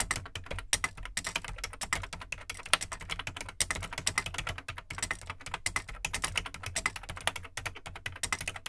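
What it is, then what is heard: Plastic computer keyboard being typed on. Fingertips type quickly on the plastic keycaps of an Amstrad CPC 464 home computer, a large hollow black plastic case. It makes a dense, steady stream of short, bright plastic clicks and clacks that stop almost at once, over a faint low rumble.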